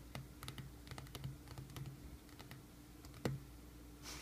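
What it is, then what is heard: Cardboard shipping box tapped. Fingertips of both hands tap and scratch across the paper shipping label and corrugated surface of a medium, closed, hollow cardboard mailing box resting on a wooden sill. Quick, soft, dull taps with a low hollow thump come in an irregular, typing-like patter over faint scratching. One sharper, louder tap lands near the end before a brief rustle.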